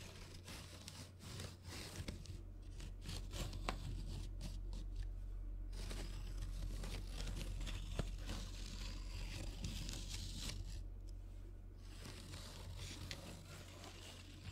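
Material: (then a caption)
Wood. Fingernails scratch and rub across the barrels of a row of wooden colored pencils resting in an open metal tin. The result is dense, rapid scratchy scraping with crinkly ticks and brief bright clicks, over a steady low hum.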